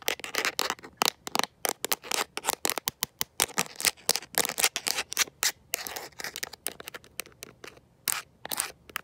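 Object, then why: Plastic and rubber phone case. Long nails fitted with metal paperclips tap and scratch a smartphone in a mint-green rubber and plastic protective case held in one hand. Rapid, uneven bursts of crisp, bright clicks mix with short scraping strokes. There is almost no low end, and each tap stops dead with no ring.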